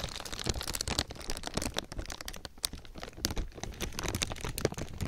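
A thin black plastic garbage bag draped over a binaural microphone is rubbed and crinkled with fingertips. It makes a dense, continuous run of close crinkles and sharp, crackling snaps that stop dead with no ring. Bright hiss rides over a heavy low rumble from handling near the mic.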